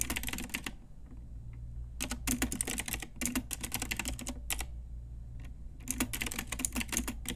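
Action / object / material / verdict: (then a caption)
tap / plastic mechanical keyboard / plastic / none. An Ajazz pink typewriter-style retro mechanical keyboard with round plastic keycaps is typed on with long nails and fingertips. Quick bursts of bright, sharp plastic clicks come in three runs separated by short pauses, over a low, steady hum.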